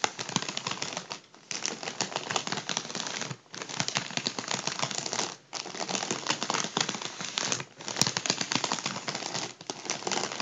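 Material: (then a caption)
Mylar foil. The soft bristles of a makeup brush brush and tap a partly deflated gold mylar foil balloon lying on a table. This makes a dense, bright, crinkly rustling with quick crackling taps. The sound comes in bursts of a second or two, separated by brief near-silent pauses.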